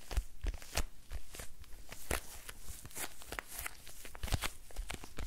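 A small, dark, hollow quilted faux-leather purse with a squishy, textured surface is held in both hands and tapped and scratched with fingertips and nails. Soft, low thumps mix with bright, crackly scratching in a quick, irregular stream, each sound dying away almost at once.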